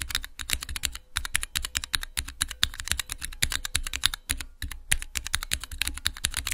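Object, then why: Mechanical switch tester with clear plastic keycaps. Long-nailed fingertips rapidly type on a small multi-key Cherry MX mechanical switch tester, with clear plastic keycaps over hollow plastic housings with switches, resting on a black cloth. The result is a fast, dense run of sharp, bright plastic clacks, each with a soft low thud and almost no ring.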